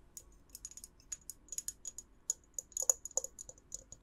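Long acrylic nails tap the sides of a clear glass jar with a white lid, held in both hands, with a lit tea light inside and otherwise empty. There are about 18 quick, irregular, bright clicks with almost no low end and very little ring. A few taps carry a faint glassy tone underneath.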